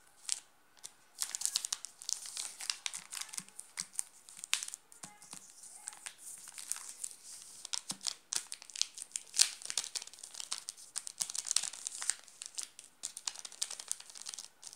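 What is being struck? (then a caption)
Chocolate bar in plastic film wrapper. A hand grips and squeezes a wrapped chocolate bar while fingertips scratch its plastic film wrapper, making it crinkle. Dense, bright crackles and rustles come in quick irregular bursts, almost all high and crisp with barely any low end. Each crackle snaps off sharply with no ring.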